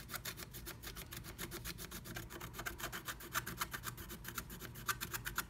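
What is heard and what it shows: A wooden stylus scratches quickly across flat black scratch art paper inside a diamond-shaped stencil cut-out, revealing pink colour underneath. Fast, repeated rasping strokes come about four times a second, each a short, dry scrape with bright, hissy edges over a soft low rumble.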